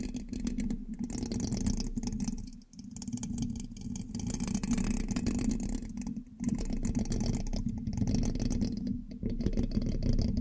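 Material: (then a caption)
Metal mesh. A thin metal pin held in the fingertips scratches and taps the hollow black metal mesh grille of a large USB microphone. The result is a dense, rattling, scraping texture heavy in low rumble, with brief dips in level between bursts of activity.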